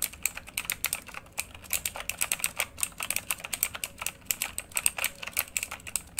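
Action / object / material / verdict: tap / mechanical computer keyboard with plastic keycaps / plastic / none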